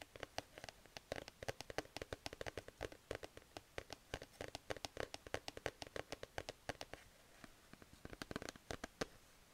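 Fingertips and nails scratch and rub the soft fabric of a grey plush cat sleep mask mounted on a cardboard card, recorded up close. The result is a quiet, steady stream of dozens of short, crisp scratching clicks over a soft brushing texture, with a brief softer stretch near the end before the sharp scratches return.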